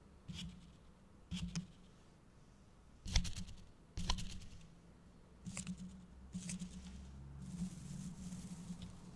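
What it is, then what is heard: Tinsel-covered gift box decoration. Fingertips stroke and scratch the red and gold plastic tinsel near the front of a small, hollow-looking decorative gift box topped with a holographic foil bow. Short, crinkly, scratchy rustles come in irregular bursts, then turn into a steadier rustling toward the end. A low hum runs underneath throughout.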